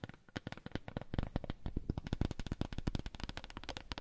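A wooden coaster is tapped in a rapid, steady run of short, dry taps. Each tap is a quick, low, thudding knock with almost no ring, and the taps grow slightly louder partway through.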